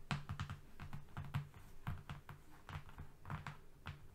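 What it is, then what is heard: Flat cardboard sheet. Fingernails on both hands tap and lightly scratch a flat brown cardboard strip lying on a rug. The result is a quiet, irregular run of soft, dull taps with a low thud, each dying away almost at once, with faint scratchy rustle between them.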